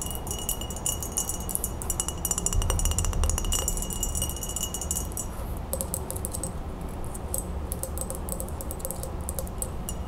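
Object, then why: Glass jar. An empty, clear, medium-size hollow glass Ball mason jar is held in the hands and tapped all over with long acrylic nails. Rapid, uneven, bright clicks with short glassy rings continue throughout. A steady low rumble sits underneath, swelling slightly in the middle.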